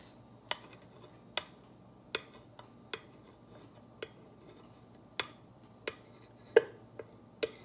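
A clear glass or acrylic rod tool with a ball tip, held in a hand with long nails, traces and taps over the white lettering of a flat, solid black-painted wooden or MDF wall plaque with glitter stars, lying on a table. Eleven short, sharp, bright clicks ring off almost instantly, spaced irregularly over a quiet background.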